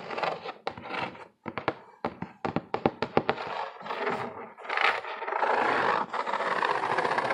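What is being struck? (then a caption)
Corrugated cardboard box. Fingertips and nails scratch and tap the flat side of a medium, empty-looking corrugated cardboard box. Bursts of dry, papery scratching give way to a run of sharp, quick taps. The clip ends with a long, steady rasp of scratching across the surface.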